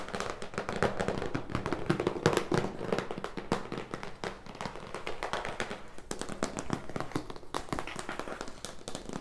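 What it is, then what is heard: Cardboard box. Fingertips and nails tap on the front and top of a large, closed, printed cardboard product box for a leg massager, presumably full, standing on a wooden table. Rapid, irregular taps mix dull, hollow thumps with sharper, brighter clicks from the nails, each one dying away quickly, over a faint low hum.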